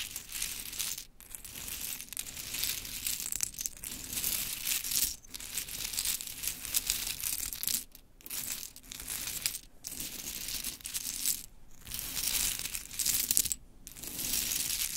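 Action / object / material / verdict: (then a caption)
scrape / pile of small wooden clothespins / wood / none. Long chrome nails grab, drop and scratch through a loose pile of mini pink wooden clothespins. The result is a dense, bright clatter and rustle of small wooden pieces tumbling against each other, broken by several short pauses.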